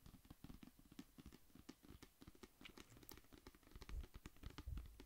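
A medium clear/white plastic pump bottle of lavender liquid soap, with a white pump cap and lavender label and apparently full of liquid, is held in hand and tapped and scratched with long fingernails. The result is soft, rapid, irregular tapping of short, dull, low thuds mixed with faint bright clicks and scratches, with a couple of heavier thumps near the end.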